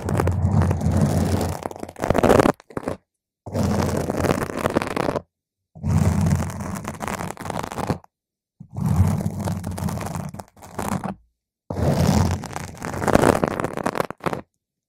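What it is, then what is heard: Foam microphone windscreen. Two long nail tips scratch across the top of a round purple foam microphone windscreen, making a dense, rough scraping with a heavy low rumble. The scratching comes in five long bursts separated by short silences.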